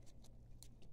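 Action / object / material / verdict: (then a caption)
scrape / apple tree leaf / leaf / dry. A dry, crispy dead leaf from a young apple tree grown in soil, now being soaked in hydrogen peroxide water to try to save it, is handled. Four faint, short crinkling crackles stand out above a steady low hum, confirming how dried out the leaf is.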